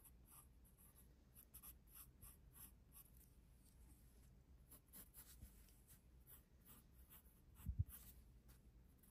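A graphite pencil held in the fingers scratches short strokes on a drawing on an open paper sketchbook page. The quiet, bright scratches come in brief bursts over a steady low hum, with one louder low thump near the end.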